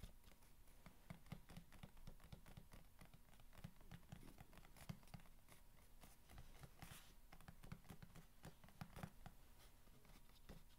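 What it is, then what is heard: Corrugated cardboard box being tapped and scratched. Fingernails tap and scratch the top and side of a long, hollow corrugated cardboard box resting on a blanket. The sound is a quiet, steady patter of short, dry taps and scratches with a hollow, low body and no ring.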